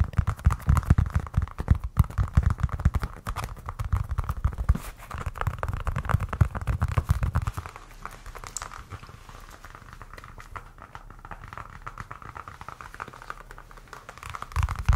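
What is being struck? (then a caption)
Leather-covered baseball. A solid white leather baseball with red stitching is held in the hands and tapped and scratched with nails and fingertips. Rapid, irregular, low, dull taps and rustling scrapes fill the first half. The sound then drops to softer, quieter scratching before picking up again at the end.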